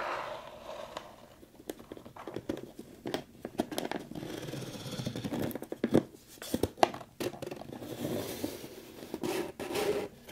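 A closed, hollow brown kraft cardboard box, held up in both hands, is scratched and tapped on its sides by long pointed pink nails. Dry, papery scratching runs under sharp, crisp taps that die away almost instantly, with a mid-range, slightly hollow tone and little low end.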